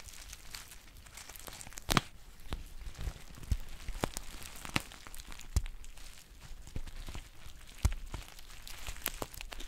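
A green foil tea pouch with a paper label is crinkled and scratched with long painted nails. A continuous soft crinkling hiss is broken by irregular sharp crackles and clicks, a few of them standing out louder.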